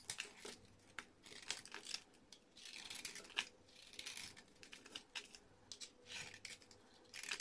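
A small metal blade shaves and scrapes the surface of a solid, hand-sized orange bar of soap held in fingers with red-painted nails, throwing off flaky curls. Quiet, bright, crisp scraping strokes come in short rasping bursts with almost no low end, and each stroke ends in a dry crinkle.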